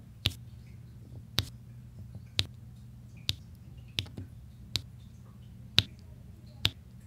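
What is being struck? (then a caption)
Resin drills on a diamond painting canvas. A pink plastic drill pen taps small solid resin drills into place on a large flat diamond painting canvas with an adhesive backing, and a white plastic roller presses and scrapes across them. Eight sharp, bright clicks ring out at irregular intervals, each dying away almost instantly. A steady low hum runs underneath.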